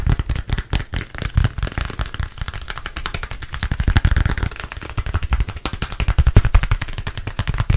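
A thin black smartphone, apparently glass and plastic, is held in front of the face beside the microphone and tapped rapidly with fingertips and nails. The result is a dense, continuous stream of short, dry taps with heavy low thump and quick clicky tips that die away almost instantly, rising and falling in loudness throughout.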